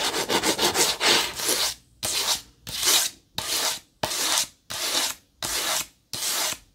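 Long fingernails scratch the sides and top of a small rectangular white cardboard box held in the hands. A quick run of rapid, bright scratches gives way to seven separate longer strokes, each a dry, hissy rasp with little low end.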